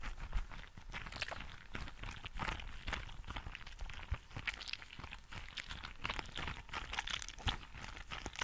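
A green translucent rubber frog toy filled with gel beads is squeezed and scratched with fingertips and nails. It makes a steady stream of crunchy, squishy crackles with bright highs and soft low thumps throughout.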